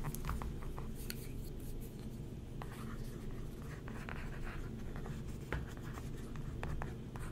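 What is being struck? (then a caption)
Glossy magazine page scraped with a wooden stick. A thin wooden stick traces and scratches over the printed photos of an open glossy paper magazine lying flat on a table while a hand holds the page. A soft, steady scratching runs throughout over a low, dull rumble, with brief brighter ticks as the stick catches on the paper.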